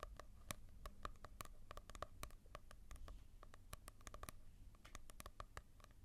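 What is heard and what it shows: Fingertips tap and scratch on the glossy cover of a manga book, a sound meant to contrast with a matte cover. Quick, irregular dry ticks with a bright edge sit over a steady low rumble and soft scratching, each tap dying away almost instantly.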